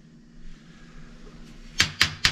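A plumber taps three times on a house's sewage downpipe to check it, each tap a short, dull knock that dies away almost at once with no ringing. The section is judged full of sewage backed up from a blockage.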